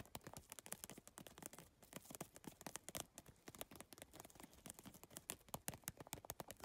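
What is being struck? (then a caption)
Handbag covered in rigid plastic tiles. Long painted nails tap quickly on a medium holographic geometric PVC tile handbag, covered in rigid iridescent triangular plastic tiles on a soft, hollow, padded backing and lying on teal fabric. A rapid, uneven stream of quiet, sharp, bright clicks with a light hollow low end dies away almost instantly after each tap.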